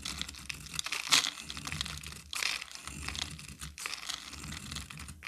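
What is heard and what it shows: A metal utility knife blade scrapes shavings off a solid pink rectangular bar of soap held in the hand. The result is a steady run of bright, crisp, crumbly scraping and crackling, with louder rasping strokes around the first and second-and-a-half seconds.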